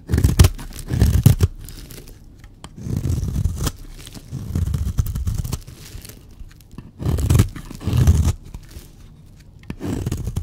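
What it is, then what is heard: Dry bar soap being scraped. A blade scrapes curls off a solid, dry, white speckled bar of soap. Several separate strokes of dry, crunchy scraping rise and fall with short pauses between them. The sound is mostly low and rough, with faint bright crackle on top.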